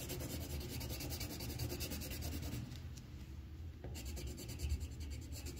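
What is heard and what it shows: The tip of a green wooden colored pencil scratches and rubs across a thin white paper sheet on a clipboard while coloring in a leaf outline. Steady, rapid back-and-forth strokes make a dry, rasping scratch with a heavy low rumble. The strokes ease to a softer hiss partway through, then resume at full strength.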